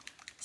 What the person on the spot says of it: it's a little bit heavier so you can hear the ball that's in there to shake it up